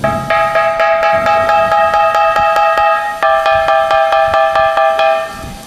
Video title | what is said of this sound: MÃ 13 / LỘC BÌNH MEN LAM VẼ TAY HOA SEN ĐẸP CAO 1M55 - GỐM BÁT TRÀNG - ĐỒ THỜ | âm thanh của cặp lục bình này âm thanh rất đanh trong và vang